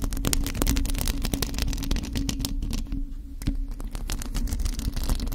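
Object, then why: Metal mesh microphone grille. A bare, hollow black metal mesh microphone grille is scratched with long acrylic nails from both hands. The result is a dense run of rapid, crackling scratches over a heavy low rumble, with a steady low hum and brief quieter gaps.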